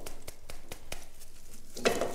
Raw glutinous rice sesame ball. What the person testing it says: 给它敲一敲 冻得硬邦邦的哟